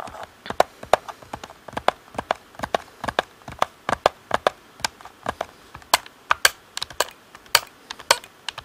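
Fingertips tap the buttons and shell of a hollow black plastic Xbox controller. Quick, dry, clicky taps land in an uneven stream, each one short and bright with a hollow plastic knock in the midrange and almost no low end.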